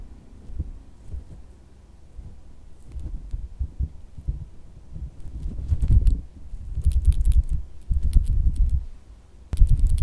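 A pink, solid, soft silicone squishy dog toy is held in the palm, then laid on fabric, and tapped with fingertips and nails. The result is mostly low, muffled thuds and soft pats. Sharper, brighter nail clicks come through in the louder second half.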